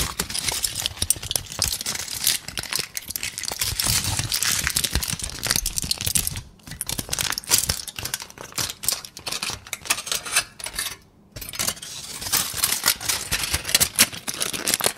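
A thin, crumpled sheet of aluminum foil is held in both hands and crumpled and rubbed with the fingers. It makes a dense, bright crinkling with many sharp crackles. Two brief quiet pauses break the crinkling, near 6.5 and 11 seconds.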